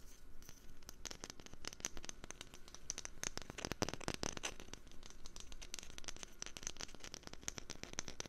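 A wooden lid is tapped rapidly and continuously with quick, dry clicking taps that have almost no ring. The taps come in dense, uneven bursts with a bright, crisp edge over a low, steady background rumble.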